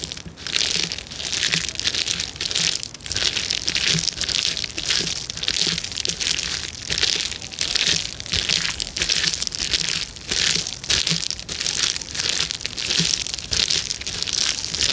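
Flat hands and fingertips press and crush the bubbles of a clear plastic bubble wrap sheet. The result is a steady stream of bright, crinkling crackles and pops that swell and ease in waves with almost no low end.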